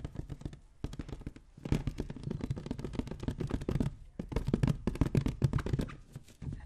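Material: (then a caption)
Latex. A light green latex balloon filled with liquid is tapped and rubbed with the fingertips close to the microphone. It gives a dense run of quick, soft, low thuds with crackly bright edges, each dying away almost at once. Brief pauses break the run near 0.8, 1.6 and 4.1 seconds.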